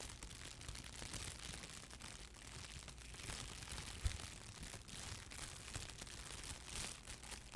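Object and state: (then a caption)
Crinkled plastic film wrap. A thin, clear, crumpled plastic wrap or bag is held in both hands and crinkled, squeezed and stretched by hand. It makes a steady, dense crackling with a bright hiss over a low rumble, and one brief louder snap stands out about halfway through.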